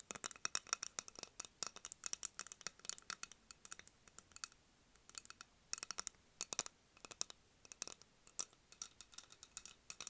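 A medium clear glass candle jar filled with candle wax and topped with a wooden lid is held in the hands and tapped with long acrylic nails on its glass sides and lid. The result is quiet, rapid bursts of sharp, bright clicks and ticks concentrated in the high frequencies, each dying away almost instantly, with brief pauses between flurries.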